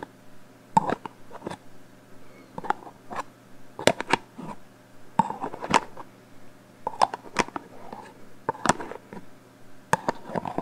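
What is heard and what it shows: A black "Hold" metal aerosol hairspray can with a plastic cap, hollow, is held in both hands and tapped with long painted fingernails along its body. Quick, sharp, hollow metallic taps come in uneven bursts, each dying away almost at once with a faint mid-pitched ping, over a low steady background hum.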